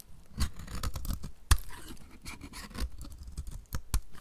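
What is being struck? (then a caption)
Bar of soap scraped by a knife blade. A utility knife blade scrapes shavings off the surface and edges of a solid, oval, dry pink bar of soap held in the hand. Short, dry scratching strokes mix with crisp clicks, and a sharp snap near the middle stands out. The sound is mostly low and thuddy with little ring.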